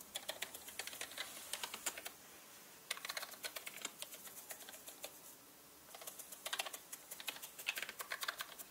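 A small orange-bristled paintbrush brushes the keys of a black plastic mechanical computer keyboard with hollow plastic keycaps. Quick bursts of bright, clattering clicks and taps come over a soft, steady hiss, and the clicks break off into brief quiet stretches twice before resuming.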